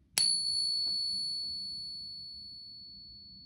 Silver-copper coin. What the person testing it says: you can see that it resonates for quite a bit longer than the pure coin